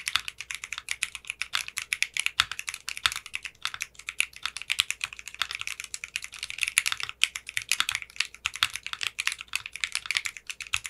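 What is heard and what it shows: Fingertips with short manicured nails type steadily on a clear pink polycarbonate 60% mechanical keyboard with clear pink polycarbonate keycaps. A fast, continuous stream of short, crisp clacks sounds bright and thin, with almost no low end, and each keystroke dies away instantly.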